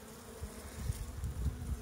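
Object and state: Nothing is struck.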